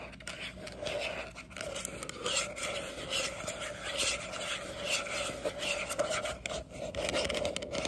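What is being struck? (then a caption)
Small hollow plastic sports cone. Long acrylic nails scratch and rub along the surface and base of a small hollow green plastic training cone held close. The result is a continuous, fast, bright scraping texture with a steady hollow tone around 600 Hz, swelling and dipping over about eight seconds.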